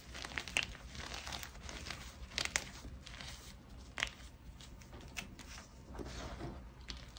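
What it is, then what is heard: Gym chalk chunks being crushed. Hands squeeze solid, brittle chunks of white gym chalk (magnesium carbonate) in a fist while fingertips press and crumble them over a pile of chunks and powder. The result is a steady, bright dry crunching and crackling grind, with a few louder sharp snaps as pieces break apart.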